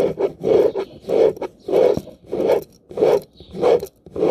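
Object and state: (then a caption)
Plastic round hairbrush bristles scratched. Fingertips and nails rake and scratch back and forth across the dense, ball-tipped pin bristles of a light blue plastic round hairbrush with a hollow barrel, held close up. About seven steady, evenly spaced rasping strokes sound, each a bristly, midrange scrape with a crackly high edge and quick gaps between.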